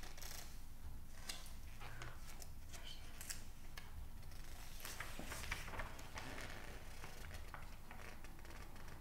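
An open glossy psychology magazine with thin printed pages is held in both hands while fingertips rub and squeeze the pages, then turn one. Soft, bright paper crinkles and clicky rustles come in quick, uneven bursts over a steady low rumble.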